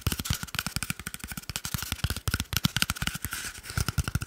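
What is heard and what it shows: Fingertips and nails of one hand rapidly tap and scratch a small, hollow, empty cardboard toilet paper tube held in the other hand. Each quick, dry tap has a hollow, low thump with bright, papery scratching clicks layered over it. The tapping runs as a fast, continuous, uneven rhythm throughout.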